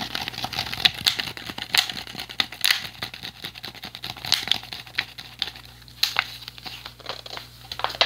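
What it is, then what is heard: Empty plastic water bottle. An empty, hollow clear PET plastic water bottle with a blue cap is held upright while fingers crinkle and tap it. The result is a dense run of bright, crisp crackles and sharp little taps that stop almost instantly, with a few louder snaps along the way. A faint, steady low hum sits underneath.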